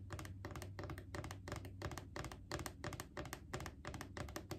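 Long painted fingernails tap rapidly on the side of a Clorox disinfecting wipes canister, a hollow plastic cylinder with a label. Quick bursts of crisp, bright clicks come in irregular clusters over a steady low hum, each tap dying away almost at once.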